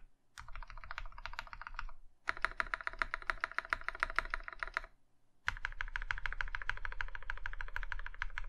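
An Iron 165 compact mechanical keyboard in a maroon metal case with cream plastic keycaps is typed on by one hand, the fingertips pressing and tapping the keys. Three bursts of fast, uneven typing are separated by short pauses. Each keystroke is a short, dry clack with a midrange click and a low thud underneath.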